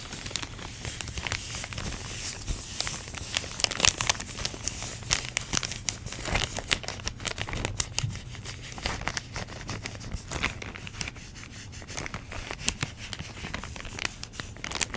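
Long nails crinkle and scratch a clear plastic packaging bag holding orange foam pumpkin shapes. A steady, bright crinkling fills the clip, broken by dense, sharp crackles and tearing-like scrapes. A faint low hum runs underneath throughout.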